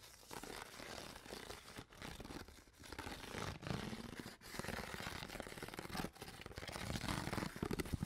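An empty, hollow, clear ridged plastic water bottle with a white cap and no label is scratched and squeezed with long nails along its ridges. Dense crinkling, crackling and scraping rasps run almost continuously, broken by a few brief pauses and sharper crunches.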